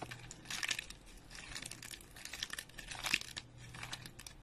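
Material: Soap.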